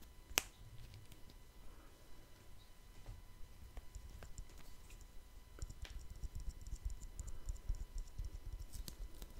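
A small round wristwatch with a metal case and glass face is held in the fingers near the microphone and tapped with the fingertips. One sharp, bright tick stands out near the start, followed by softer, very short taps and light clicks over a quiet low rumble.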